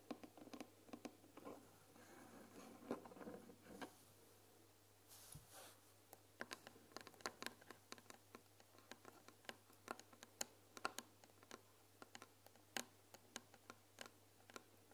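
Long nails tap and scratch the front panel, lettered "THÉ", of a closed white painted wooden tea box that is hollow and filled with tea bags. Soft, hollow scratching and rubbing in the first few seconds gives way to a long run of sharp, dry clicks and taps. Each tap dies away almost at once against a faint low hum.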